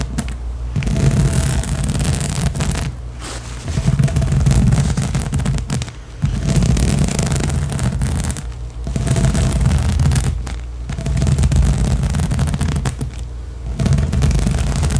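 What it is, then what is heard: Rubber spiky balance cushion. Long nails scratch rapidly and hard across the small nubs of a large blue, hollow, air-filled inflatable rubber/PVC balance cushion. The result is a dense, rumbling scraping that sits mostly in the low end with a hollow resonance, coming in bursts separated by brief quieter pauses.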